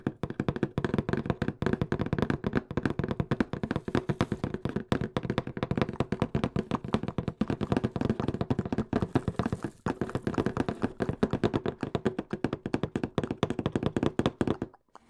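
Fingertips tap and knock rapidly on the surface of a hollow brown cardboard box held tilted right beside the microphone. The result is a fast, continuous stream of dull, hollow thuds, mostly low and mid in tone with very little brightness, each dying away almost instantly. The tapping stops just before the end.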